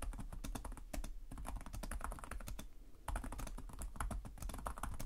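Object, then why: Plastic laptop keyboard. Both hands type rapidly with short-nailed fingertips on the plastic chiclet keys of a black laptop resting on a desk. The result is a dense run of quick, soft clicks and dull taps with a low thud beneath, pausing briefly near the three-second mark before resuming.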